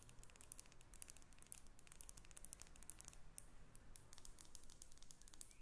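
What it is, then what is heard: Glass perfume bottle. A small faceted clear glass perfume bottle with a silver metal cap is held in the hands and tapped and scratched with long acrylic nails. The result is a quiet, rapid stream of sharp, bright clicks and light scratching that die away almost instantly, over a soft low background hum.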